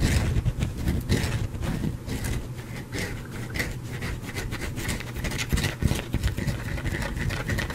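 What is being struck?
Soap bar.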